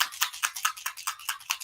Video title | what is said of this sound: Memorial Weekend Looks will last longer with Airbrushing | here's a BB moving around in there